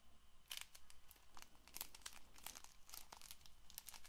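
A small Bicycle playing card box made of paperboard and wrapped in clear plastic film is held up and turned in the hands while long nails scratch and tap its faces. Irregular bursts of bright, crisp crinkling and ticking clicks come in quick succession over a steady low hum, each one ending almost instantly.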